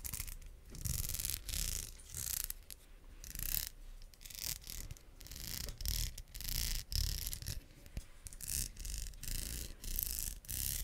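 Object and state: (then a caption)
Plastic wide-tooth comb. Long acrylic nails strum the teeth of a pink solid plastic wide-tooth comb held close in front of a microphone. Repeated bursts of bright, raspy clicking swell and fade over a low, breathy rumble, with each tooth-click dying away almost instantly.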